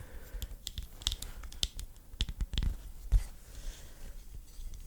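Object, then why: Wooden rods of a hanging sign. Fingernails tap on the wooden rods at each end of an autumn hanging sign, making quick, dry, bright clicks with a low thump beneath and almost no ring. The taps come in an uneven run of about ten, some soft and some sharper, with quiet gaps between them.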